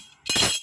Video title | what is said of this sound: Semar mesem pejetan tangan pamor kolomuyeng | saya jatuhkan bunyi ya kayak kompeng-kompreng. Nah, nanti dikira tanah liat ini adalah besi kuning